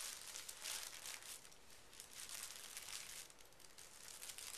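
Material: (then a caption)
Paper. Both hands smooth and rub a large, flat sheet of thin pink tissue paper lying on carpet, using fingertips and short nails. The result is a quiet, steady, bright crinkling and rustling that swells and fades in soft waves, with little low-end body.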